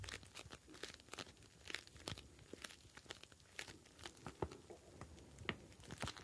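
A clear plastic gel bead ice pack filled with blue gel beads is squeezed and kneaded with fingers. It gives a dense run of quiet, crisp crunching and crinkling bursts, each short and bright, with no ringing between them.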